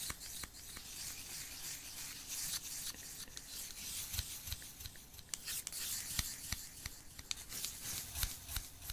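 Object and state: Wooden chopsticks rubbed together.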